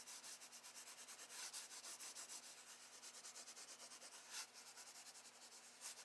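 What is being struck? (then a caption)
Graphite pencil on thin drawing paper. A graphite pencil held in the fingers is rubbed and scratched back and forth across thin drawing paper in a spiral-bound sketchbook lying flat on a wooden desk, shading under a swan sketch. It makes a quiet, steady, rapid rhythmic scratching that is bright and hissy with almost no low end, with a few slightly louder strokes standing out.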